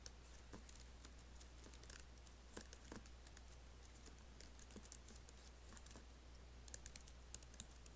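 Fingertips type on the black plastic keys and space bar of an Apple laptop keyboard with an aluminium body. Soft, quick, bright clicks patter irregularly, with a few louder taps near the end. A steady low hum runs underneath throughout.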